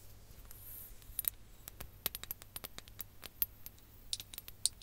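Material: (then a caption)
Glass. A ribbed glass hourglass filled with orange sand is tapped with long nails while it is tilted and turned. About twenty quiet, sharp, irregular clicks sound, bright and very short with almost no ring, over a faint low hum and a soft background hiss.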